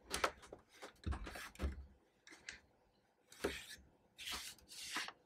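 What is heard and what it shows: Black-gloved hands hold and turn a matte black plastic PlayStation 3 Slim console with a hollow housing, the fingertips tapping and rubbing along its casing edges and ports. Soft, dull knocks with low thuds alternate with bright, scratchy rubbing bursts, separated by short quiet gaps.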